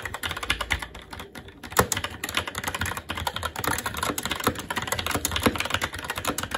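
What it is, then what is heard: Plastic mechanical keyboard being typed on. Fingertips of both hands type continuously on a SteelSeries Apex 7 TKL mechanical keyboard with red linear switches, plastic keycaps and a metal top plate. A dense, uneven stream of short, bright plastic clacks and taps rolls on for the whole clip, with a brief lull around the first second and occasional louder keystrokes.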